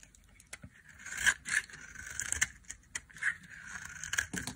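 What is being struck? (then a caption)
Olive oil soap bar cut with a metal blade. A solid, dry, olive-green olive oil soap bar held in the hand has its edge shaved and cut with a flat metal blade, and crumbly chunks break off. It makes dry, crisp scraping and crunching with sharp, bright clicks, centered around 1.6 kHz with a hissy top. The sounds are quiet and short, with almost no ring.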